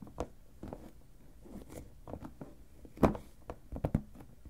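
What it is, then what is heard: Plastic storage box lid tapped. Fingertips and nails tap and scratch the lid of a clear plastic storage box full of papers, with both hands resting on the lid the whole time. Ten soft, short, dull taps sound irregularly over light scratching. The loudest hit comes near the three-second mark and a quick cluster follows toward the end.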